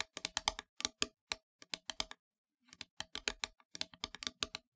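Long grey nails tap rapidly on the flat face of a solid, black-painted wooden heart board about 1 cm thick, lying on a fabric surface. About 25 quick, dry, bright clicks come in bursts, each dying away almost instantly, with a brief pause midway.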